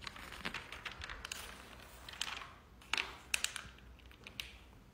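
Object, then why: Glossy paper catalog pages. A hand with short teal-painted nails rubs across the pages of a large, open glossy paper product catalog lying flat and flips them. The result is a run of crisp, bright paper crackles and rustles with quick, sharp snaps and little low-end weight.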